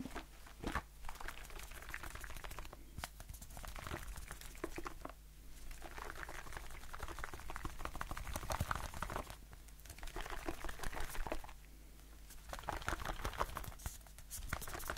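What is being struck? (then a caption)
Aluminium aerosol shaving foam can. Fingertips with short nails tap fast on a blue aluminium aerosol shaving foam can with a plastic cap, held in the hand. The result is dense, rapid, bright, clicky patter in bursts with brief quieter pauses between them. A steady low hum sits underneath throughout.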